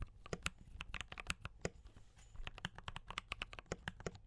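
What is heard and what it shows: Fingertips of both hands type on a D84 mechanical keyboard with brown switches and cream and red plastic keycaps. Rapid, crisp clicky keystrokes give sharp, bright clacks over a low, soft thud. The typing pauses briefly near the middle and then resumes.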